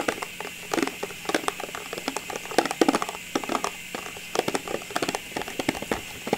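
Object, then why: Plastic tube filled with small ornaments. A hollow, cylindrical clear plastic tube full of small Christmas ornaments is held tilted and tapped and scratched with long nails, and its contents may shift. Quick, dry clicks and light scratches come in uneven bursts, each dying away almost at once. The sound is mostly in the mids with some bright edges and very little low end.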